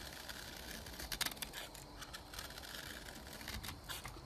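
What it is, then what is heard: Bar soap being scraped. A metal knife scrapes powdery curls from the face of a solid white rectangular bar of soap held in a hand with black nails. A steady, quiet, bright scraping hiss runs throughout, with a cluster of sharper, louder scratches just after one second and a few more crisp strokes near the end.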